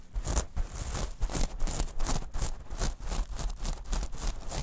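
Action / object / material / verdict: scrape / small metal mesh pouch / metal mesh / none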